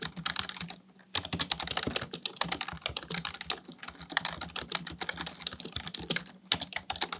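Fingertips type rapidly on a black plastic full-size keyboard resting on a desk. A dense stream of short, bright clicks and taps, broken by a brief pause near the one-second mark, then continuing without letup.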